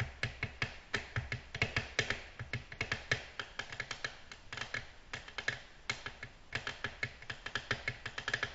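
Long natural nails tap a flat, solid, glossy black glass tabletop. They make a quick, irregular run of dozens of short, bright clicks that die away almost at once, with a faint low hum underneath.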